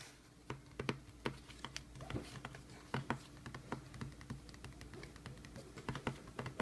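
Fingertips tap rapidly on the paper shipping label on top of a closed, hollow corrugated cardboard shipping box resting flat. The irregular run of quick, soft taps gives short, dull, hollow knocks with brief crisp clicks, over a faint steady low hum.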